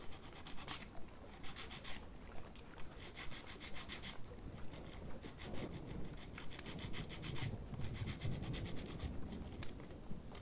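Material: Plastic.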